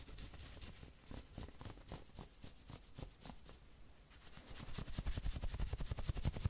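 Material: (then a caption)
Knit fabric. Fingertips scratch quickly across the shoulders and chest of a worn maroon knit sweater. The result is a steady stream of short, dry scratching strokes with a soft low rumble and bright fabric hiss, growing louder and sharper toward the end.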